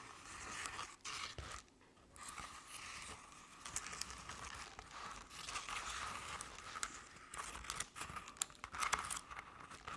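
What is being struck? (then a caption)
Crepe-paper covered decorative pumpkin. Long nails on both hands scratch the sides of a crepe-paper covered decorative pumpkin, producing a steady, dry, papery rasp with crinkling and sharp ticks, bright in tone and centred around 1.1 kHz. The scratching runs nearly continuously for ten seconds at a soft level, with brief pauses near the first and second seconds.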